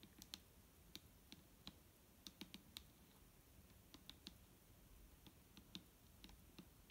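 Fingernails tap slowly on the side of a large, clear plastic micellar water bottle that is full of liquid and lying on a table. About nineteen short, dry, bright clicks land at an uneven pace, each dying away almost instantly over a faint low hum.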